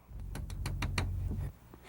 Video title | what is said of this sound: Aircraft Structural Repairs | It is a coin, and you can use it to tap on a composite structure, and you should hear a ring.